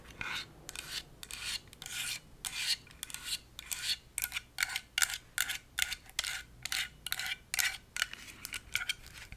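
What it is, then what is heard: Plastic and metal stapler scratched with nails. Long acrylic nails scratch and tap along the top and sides of a handheld pink Swingline stapler, which has a hollow plastic shell and metal parts. The result is a quick series of bright, dry, raspy scratching bursts with little low end, each one cutting off without any ring.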